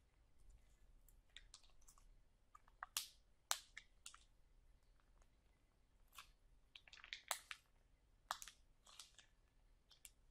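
Long nails and fingertips press and scratch a sealed, soft, full clear plastic package of sauerkraut lying on a table. Quiet, bright crinkles and sharp clicky snaps come in scattered, irregular bursts with almost no low end, each dying away almost at once.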